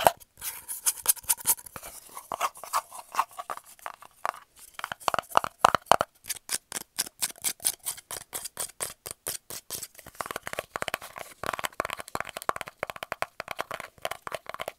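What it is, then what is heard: Cardboard tube lid. Fingernails rapidly tap and scratch the side and top of a small, hollow, round brown kraft cardboard lid held in the hands. The result is a fast, irregular stream of dry, hollow clicks centered around 700 Hz, with bright scratchy edges and no ring or low end. Brief scraping bursts sit between the taps.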